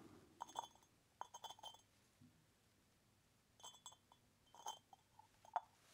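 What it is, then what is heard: Terracotta lidded pot. Fingertips tap and jiggle the lid of a small, hollow, unglazed orange terracotta pot with handles and holes, held in one hand, so the clay lid knocks against the pot rim. The result is short, dry, quiet clinks in several quick clusters with gaps of silence between them. Each clink has a woody mid-pitched knock and faint bright, glassy overtones that die away almost at once.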